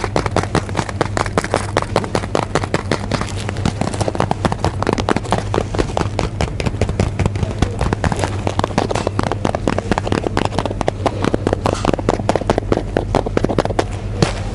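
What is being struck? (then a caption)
Cardboard tea box. A blue cardboard box of tea is held near the ear and tapped and scratched with fingers and nails. Rapid, dense crackling taps and scratches run continuously throughout, with short dry clicks over a steady low hum.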